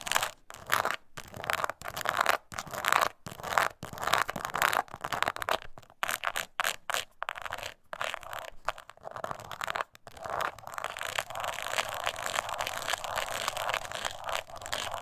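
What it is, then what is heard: Crocodile-embossed leather coin purse. Long nails scratch along the scales of a small, hollow, glossy brown crocodile-embossed leather mini coin purse lying on a table. Short, separate bursts of dry, raspy scratching come through the first ten seconds, then the strokes blend into a steady, denser scraping with a bright edge.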